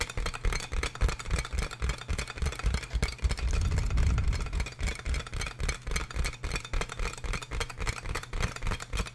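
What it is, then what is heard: Plastic air column packaging bag. Fingertips and nails tap and scratch on large, clear, inflatable plastic air-column packaging made of hollow air-filled tubes. The result is a rapid, uneven stream of dull, low, hollow thumps, about three to four per second, with a faint crinkly rattle. The taps briefly swell into a denser, louder rumble midway before settling back.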